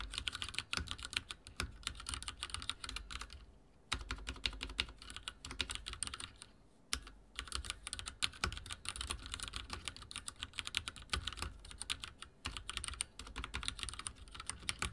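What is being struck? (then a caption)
Mechanical keyboard with plastic keycaps. Fingertips type rapidly on a backlit mechanical keyboard with dark plastic keycaps and a silver frame. Dense, bright, sharp clicks and clacks run continuously with a low thump under each keystroke, and brief pauses come near 4 and 7 seconds.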